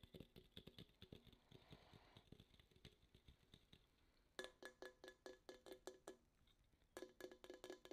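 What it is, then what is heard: Aluminum soda can. Long acrylic nails tap and scratch the printed side of a small red Coca-Cola aluminum can held upright in both hands. A first stretch of quick, dry, soft taps and brushing scratches gives way to louder, brighter taps that ring briefly with a metallic tone around 380 Hz, in rapid bursts with a quieter scratching pause between them.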